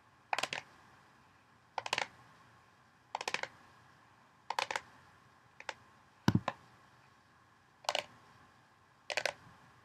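Long painted fingernails tap along the rim and sides of a large, hollow orange plastic mixing bowl with only a little water in the bottom. Eight quick clusters of dry, clicky taps come at a slow, uneven pace and die away almost instantly. One cluster carries a duller low thump.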